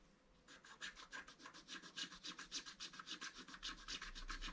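A wooden stylus rubs and scratches the lower centre area of a flat black-coated scratch art card with rapid repeated strokes. After a brief quiet start, it makes a steady series of bright, dry scraping bursts at roughly four per second, each stroke ending abruptly.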